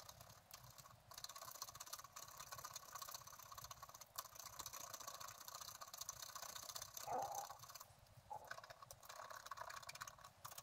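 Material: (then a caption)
Coated paper. A wooden stylus scrapes foliage details into a coated scratch-art card lying flat. Dense, bright, gritty scratching runs almost continuously with short breaks near 1, 4 and 8 seconds. A brief squeaky tone rises near the 7-second mark.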